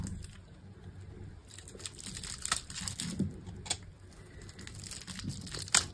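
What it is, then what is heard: Dry bar soap being scraped. A solid green bar of dry soap, held in the hand, has its surface scored and scraped off in small pieces with a metal utility knife blade. The result is soft, dry, crinkly scraping with a low rumble beneath, broken by sharp, bright little cuts and ticks that snap off quickly.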